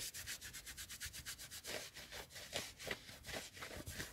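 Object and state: Knit cotton sweater sleeve scratched.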